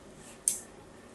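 A fine blade scratches a diagonal line into a new, solid pink soap bar held in the hand. It makes a single short, bright, crisp scrape that fades quickly over a faint quiet background.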